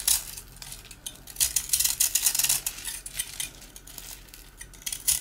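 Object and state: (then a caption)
Dry rusk. A slice of hard, dry rusk (twice-baked bread) held in the hand is scraped and cut through with a blue-handled metal utility knife, and crumbs fall onto a surface covered in rusk pieces. Bright, dry, crisp crackling and scraping come in irregular bursts with short, quick-fading clicks between them.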